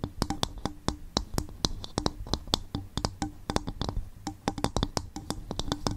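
Long fingernails tap and scratch an upturned, hollow, empty coconut shell bowl in a quick, irregular rhythm. Each tap is a sharp, dry click that dies away almost instantly, with a bright tone around 3.5 kHz over a dull, hollow low thump.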